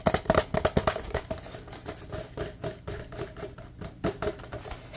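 A large, empty, hollow paper cup is tapped rapidly with fingertips while being moved around close to the camera. About twenty quick, irregular taps each give a short hollow knock with a tone near 640 Hz. The first second is loudest, and the taps grow softer and more scattered after that.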